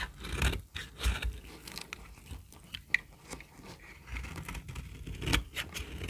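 A knife blade repeatedly scrapes a solid, very dry yellow bar of soap held in the palm, lifting brittle shavings. The result is a series of dry, crunchy scrapes with bright crackly detail over a low, dull rumble, and one sharp click near the middle.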